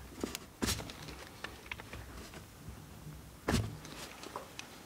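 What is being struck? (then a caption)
Bar of soap scraped by a steel knife blade. A steel knife blade scrapes a solid, carved blue bar of soap held in the hand. Two strong, bright rasping scrapes stand out among lighter, shorter scratches and ticks over a low, quiet background.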